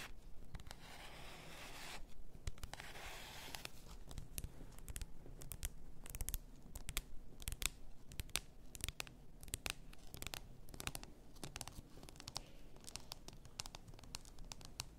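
Long nails scratch and tap the sides and shoulders of a full bath salt bottle, likely glass. A soft, hissy scratching opens the clip, then a steady run of sharp, bright, dry taps and clicks follows over a low, quiet hum.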